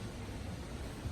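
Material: Nothing is struck.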